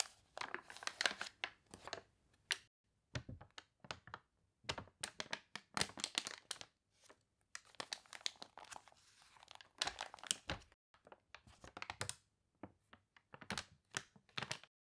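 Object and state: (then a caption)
Glossy paper catalog with water-wrinkled pages. Long nails scratch and fingers rub the water-wrinkled pages of an open glossy paper catalog, and the pages are turned. Dense, bright crinkling and crunchy rustles come in quick bursts separated by brief silences, with little low end and almost no ring after each sound.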